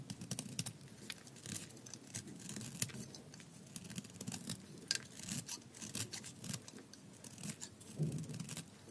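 A thin slab of tan dry soap held in the fingers is scraped with a metal blade, peeling off curls. A steady run of crisp, bright scraping rasps and short crackles sits over a soft low rumble, with the strokes coming quickly one after another.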